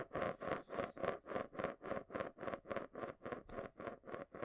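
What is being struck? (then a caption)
Glass marble in a small round plastic container. A marble rolls around the inside base of a small, hollow, round clear plastic container held upside down in both hands. It makes a steady, rhythmic rolling and scraping sound that swells and fades in regular cycles, centred around 560 Hz with a brighter hiss above.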